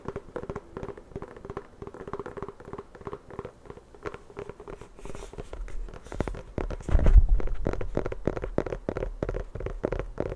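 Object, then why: Inflated rubber basketball. Long nails scratch and tap rapidly across the textured surface of a full-size, inflated, hollow rubber basketball. The result is a dense, uneven patter of short, dry clicks over a low, hollow thump. The sound grows louder and fuller from about seven seconds in.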